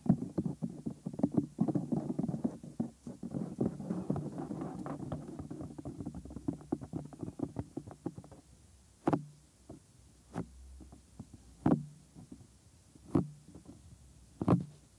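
Bare fingers rub over the white silicone ear molds of a 3Dio binaural microphone, making dense, close, muffled rustling and scratching. After about eight seconds the rubbing stops, and fingertips tap the lower ear area in several sharp, separate thuds with short quiet gaps between them.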